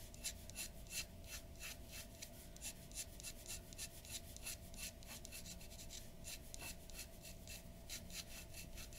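The nib of a glass dip pen scratches across a large flat sheet of white drawing paper on a wooden table in rapid strokes. It makes a quick, uneven run of bright, raspy scrapes over a soft, steady low background.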